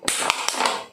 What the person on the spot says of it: suaranya ada yang tidak kedengaran, tapi ada juga bagian yang bising